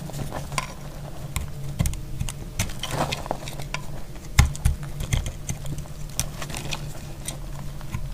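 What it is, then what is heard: Dry soap bar, cracking as it is cut. A solid, dry, speckled green-yellow soap bar held in the hand is cut with a dark utility blade. Sharp, dry cracks and crisp clicks come in quick, irregular bursts over a low rumbling bed, each snap dying away almost instantly with bright edges.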